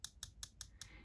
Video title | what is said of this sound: New Parker 51 Fountain Pen with Gold Nib--Compared to Vintage Parker 51 | the converter on the inside is sort of whacking against the pen kind of rattles around when you tap it